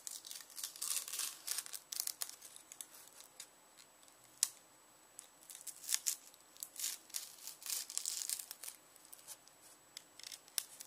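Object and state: Dry onion skin being peeled.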